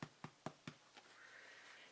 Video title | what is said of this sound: 10 Basics of Baking Bread | you can hear it on them too